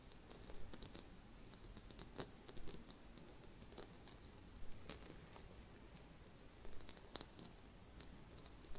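A small round gold glitter-coated Christmas bauble, held in both hands, is scratched and tapped with long red fingernails. Quiet, dry scratching and light patter run throughout, with brief, bright ticks at scattered moments over a low, steady background rumble.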